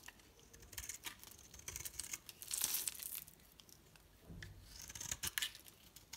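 A metal blade shaves and crumbles the surface of a solid, rounded green and pink bar of soap held in the hand. The sound is a series of crisp, bright scraping and crackling bursts with little low end, rising into denser crumbling swells before fading to quiet rustling between strokes.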